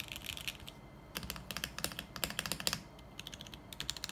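Fingertips type continuously on a 40% mechanical keyboard with beige plastic keycaps, a steel plate and a lit clear acrylic case, and near the end one hand presses the keys and the spacebar. The strokes are short, bright, crisp clacks with almost no ring, arriving in quick bursts with a brief quieter lull partway through.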